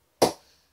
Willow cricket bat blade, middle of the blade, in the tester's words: Sounds very, very compact. Sounds like everything's working in a good motion.